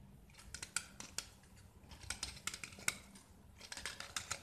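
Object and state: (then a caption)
Gypsum block being carved. A small solid white gypsum block with orange painted edges, held in the hand, is scraped and carved with a metal utility knife blade, and plaster shavings fall away. Quick, bright, dry scraping strokes come in clusters and stop sharply, with no ring after each cut.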